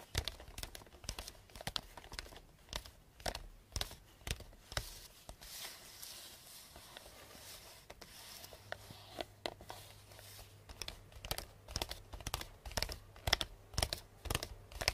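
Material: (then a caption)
Cardboard. Long painted nails tap quickly on the side of a medium, hollow cardboard box wrapped in pink star-print paper with a purple ribbon bow. Sharp, bright clicks with a hollow knock die away at once, easing into softer, sparser taps and faint papery rustling midway before picking up speed again.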